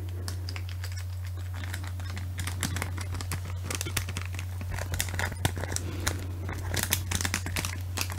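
A small clear plastic bag holding an acrylic keychain on a green card is held in both hands and handled and crinkled with long manicured nails and fingertips. Rapid crisp crinkles and light nail clicks grow busier after the first couple of seconds over a steady low hum near 98 Hz.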